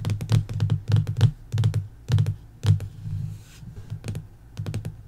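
Long acrylic nails and fingertips tap and scratch across the laminated paper-over-board cover of a closed hardcover sticker book lying flat on a wooden table. Quick, dull, low thuds come in uneven bursts, each with a short bright click on top, mixed with brief scraping strokes. The taps die out almost at once and leave no ring.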